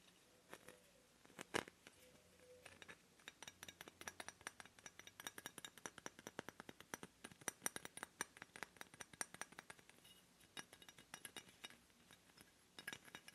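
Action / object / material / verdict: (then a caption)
tap / bismuth crystal / bismuth / none. A piece of bismuth crystal with a metallic rainbow shine is handled and tapped, giving quiet, quick, glassy clinks and clicks that come in dense clusters with almost no ring. There are two brief low tones near the start, and otherwise the sound stays thin and bright, with little bass.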